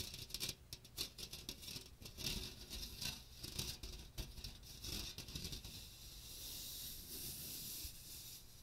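Fingertips and nails scratch and tap the hollow dome of a small hand strainer with a fine metal mesh and a teal plastic rim and handle, held over a microphone. Quick, bright, crackly taps patter with soft low thumps for the first several seconds, then settle into a steady, high, hissing scratch over the mesh.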